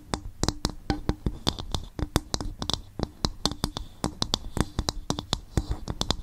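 Fingertips tap and scratch on a bowl made from coconut shell in a quick, uneven rhythm. Each tap gives a dry, hollow knock with a deep low body and a bright clicky edge. The sound dies almost at once with no ring.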